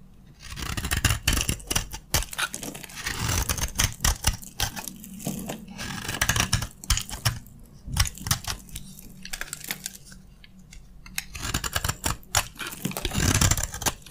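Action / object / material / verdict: scrape / bar of soap / soap / none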